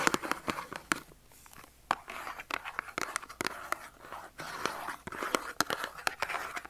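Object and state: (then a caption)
Cardboard soap box. A small Dove soap carton of thin cardboard, hollow with the soap inside, is held in the hand and scratched and tapped with short nails. Sharp, dry taps stand out over a soft, papery scratching texture, with a bright tone around 1.4 kHz and almost no low end. Each tap dies away almost at once, with quieter scratchy stretches between bursts of tapping.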